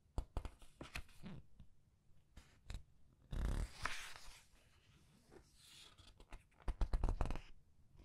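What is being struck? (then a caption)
Paper pages of a large book. Long red nails press and turn the paper pages of a large art book, making sharp, scattered taps and clicks with bursts of dry paper rustle and a soft swish as a page sweeps over. The sounds are quiet and uneven, with a denser cluster of taps near the end.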